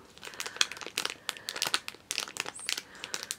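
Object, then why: Small thin plastic bag with a small item inside. A small clear plastic bag holding a pink plastic charm is crinkled and rubbed by fingertips with long red-painted nails, close up. Quick, bright crackles and crinkles come in irregular bursts, with almost no low end and very short decays.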